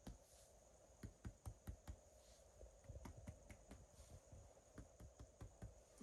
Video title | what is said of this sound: Nur 203 video assessment | the hollow sounds are all resonant